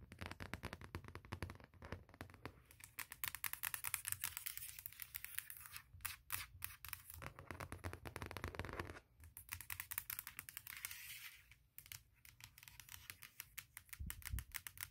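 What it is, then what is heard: Aluminum laptop lid. Long fingernails tap and scratch rapidly across the lid and front edge of a closed, large MacBook Pro with a hollow aluminum shell resting on a leather pad. The dense flurry of quick, bright clicks and scrapes carries a faint low hum underneath, pausing briefly before resuming at a steady, quiet level.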